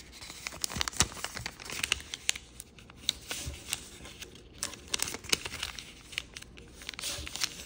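A small square of koi-printed origami paper is folded into narrower shapes and pressed and creased with fingertips. Bright, dry crinkling and rustling is broken by quick, sharp crackles and snaps that die away almost instantly.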